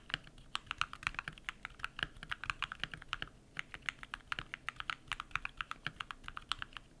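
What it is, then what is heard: Mechanical keyboard with PBT plastic keycaps. Bare fingertips type rapid key presses on a compact modded mechanical keyboard with lubed switches and white PBT plastic keycaps. Roughly four dozen short, crisp clacks come in a steady stream, with a brief pause near the middle. The clicks are bright and snappy, with little low end and almost no ring.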